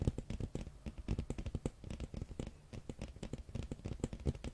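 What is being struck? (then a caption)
Hardcover book with glossy cover. Fingernails tap and scratch the glossy printed red dragon cover of a large, flat, solid hardcover art book held up in both hands. A quick, uneven run of dry, dull taps with a deep, low-heavy thud dies away almost instantly, mixed with faint scratchy crackles across the cover.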